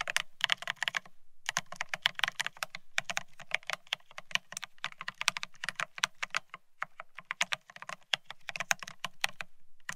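A Bear65 mechanical keyboard with blank white matte ceramic Cerakey keycaps on a steel plate rests on white cloth while both hands type rapidly with their fingertips. The result is a dense, fast stream of short, bright, clacky keystrokes centered around 2.5 kHz, with a soft low thump beneath. Each keystroke dies away almost instantly, and there is a brief pause near the start.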